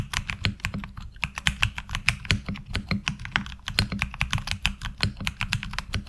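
Fingertips type steadily on a HyperX Alloy Origins Core mechanical keyboard with ABS keycaps. The result is a fast, continuous run of sharp, clacky keystrokes, each with a bright high-end snap over a low thud, decaying almost instantly between strokes.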